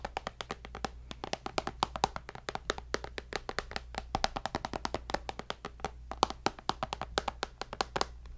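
A tablet's glass screen, held beside the mic, is tapped with fingertips and nails in a quick, steady stream of dozens of short, dry clicks. Each tap is crisp with a bright edge and dies away instantly, over a faint, constant low hum.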